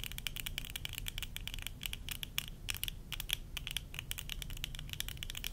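Long nails tap quickly over a pair of worn tortoiseshell plastic eyeglasses, striking the temple arms, rims and lenses. Dense, dry clicks carry a bright, sharp ring around 3.3 kHz with almost no decay, over a steady low rumble.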